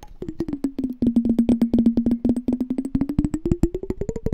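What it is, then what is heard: Glass jar partly filled with water. A small hollow clear glass candy jar with a pink label and a pink-and-white checked lid, partly filled with water, is held in the hands while fingertips and nails tap and scratch its glass walls. A rapid run of short, dry, wood-block-like taps repeats with a steady low pitch that rises toward the end, each tap dying away almost at once.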